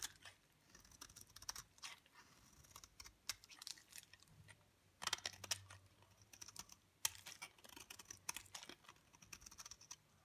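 A utility knife blade scrapes flakes off the face of a dry, pale green bar of soap held in the palm. Quick, dry, bright scratching strokes come in irregular bursts, with a few sharper crisp scrapes standing out over a quiet background.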